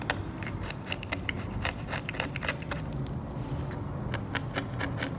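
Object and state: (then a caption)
Varnish scraped off an oil painting. A metal scalpel held in the fingertips scrapes thick, cracked, yellowed varnish off an old oil painting, flaking it away and leaving debris on the flat, solid surface. Many short, sharp, bright scratching clicks sound in quick, irregular succession over a low, steady rumble.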